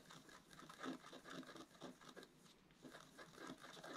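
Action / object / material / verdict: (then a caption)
scrape / black-coated scratch art paper card with wooden stylus / coated paper / none. A wooden stylus scratches and rubs across the coating of a flat, black-coated scratch art card. The sound is a quiet, dry scratching with soft, uneven rubbing strokes and light bright hiss, swelling and fading in short bursts.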